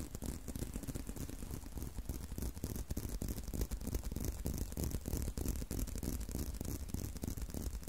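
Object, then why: Leather belt strap. Fingertips and short nails scratch and tap along a tan brown leather belt strap held across the front. The result is a quiet, steady stream of quick, irregular dull taps and scratchy rustling, mostly low thumpy sound with short, dry hits and faint bright hiss above.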